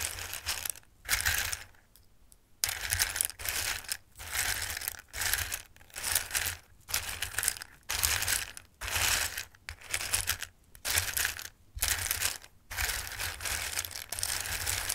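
A hand stirs and rakes through a bowl of dried tricolore pasta with its fingertips, the hard pieces shifting in bursts of bright, dry clicking and rattling. The rustling comes in irregular waves of about a second each, separated by short quiet pauses.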